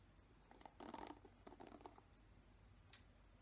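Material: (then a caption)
Plastic. Fingertips brush and scratch the bristles of a black plastic paddle hairbrush. Two quiet bursts of soft, scratchy rustling, centered in the midrange, are followed by a single brief bright tick near the end. Low background hum fills the gaps.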